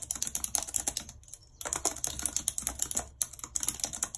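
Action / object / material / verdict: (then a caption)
tap / plastic computer keyboard / plastic / none. Long red acrylic nails type rapidly on a white low-profile plastic wireless keyboard with a full number pad and hollow housing, lying flat on a map-printed surface. A dense stream of short, bright, clacky key clicks sounds with almost no low end, broken by a brief pause near the start and a shorter one later.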